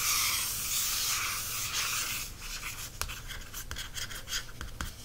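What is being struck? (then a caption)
Glossy paperback book cover. Fingernails scratch and trace across the front cover of a large glossy paperback embroidery book resting on a solid stack of pages. A steady, bright, hissy scrape fills the first two seconds, then gives way to quieter, broken strokes punctuated by small crisp ticks as the nails drag and catch on the slick surface.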